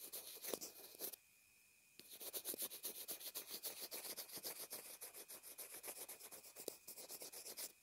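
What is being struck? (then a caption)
Plastic earphone remote. A graphite pencil tip scribbles and scratches across a small white plastic inline earphone remote/mic taped to fabric. About thirty quick, bright, rasping strokes are heard, with a brief quiet pause near the start, over a faint steady high tone.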